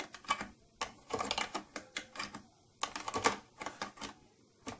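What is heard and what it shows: Long nails tap repeatedly on the upper front of a closed, hollow purple plastic tattoo kit case with silver trim. The result is quick, dry, bright clicks in irregular bursts, centered around 1.2 kHz with very little low end. Each tap dies away almost instantly.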